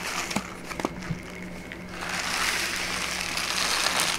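A hollow, lightly filled brown kraft paper pouch with a white label is turned over in the hands, squeezed and crinkled with fingertips and long nails. A few sharp, scattered crinkles and taps come first, then from about two seconds a dense, bright, continuous crackling rustle. A faint steady low hum sits underneath throughout.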